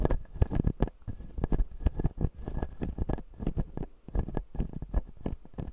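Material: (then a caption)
Plastic. A fingertip scratches and taps the front teeth of a closed, solid clear acrylic dental model with white plastic teeth. The result is a rapid, uneven patter of short, dry taps and soft scratching, dull and mostly low in tone, with no ring after each touch.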